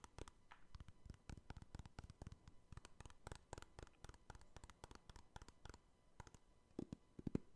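A row of small, clear, hard plastic card cases joined together, each holding an NBA trading card and hollow inside, is held in one hand while the fingertips of the other hand scratch and tap it. The result is a quiet, quick stream of dry plastic clicks and scratches with no ring, and a few louder taps near the end.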